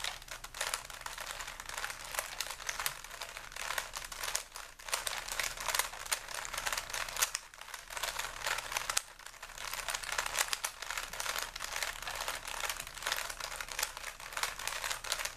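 A small solid plastic 3x3 Rubik's cube with stickers is held in both hands while fingers quickly twist its layers. The result is a dense, continuous stream of bright, crisp plastic clicks and crinkly rattling over about 15 seconds. Brief dips in the activity occur around 4.7, 7.5 and 9 seconds.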